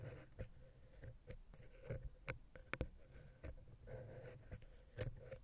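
A wooden ear pick scratches between the capsules of the silver metal X/Y microphone head on a Zoom H6. It makes quiet, bass-heavy scraping and rubbing, broken by sharp, brief ticks and clicks, with a faint steady tone underneath.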